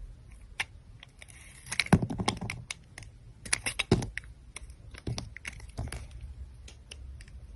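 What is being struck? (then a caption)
Soap bar cut with a metal knife blade. A solid teal glittery soap bar, held in a hand with long dark nails, is cut and scraped with the metal blade of a utility knife as slices peel off. Crisp, irregular scrapes and sharp clicks are heard, with a bright hiss over a low, soft rumble. Each cut stops short with no ringing.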